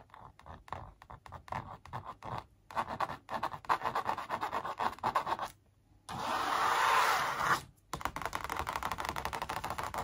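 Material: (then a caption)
Canvas. Long acrylic nails trace and scratch along the outlines of a large, flat, hollow-backed printed canvas on a wooden frame showing a graffiti sneaker. Quick dry scratching strokes come in uneven bursts with short pauses, then give way to one steady, louder, brighter scrape before the rapid strokes resume. The sound is thin and papery, centered in the midrange with little low end.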